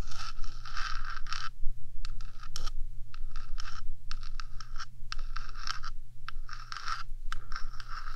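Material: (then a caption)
Metal. Long nails on one hand scratch the top of a black, hollow metal 3Dio microphone housing, making a run of bright, raspy scraping bursts with short gaps between them. A steady low hum sits underneath the whole time.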